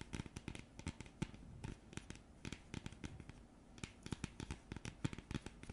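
Long nails scratch and tap across the printed surface of a thin, flat, round cardboard coaster. The result is a quiet, rapid string of short, dry taps and scratchy crinkles with a soft low thump and no ringing.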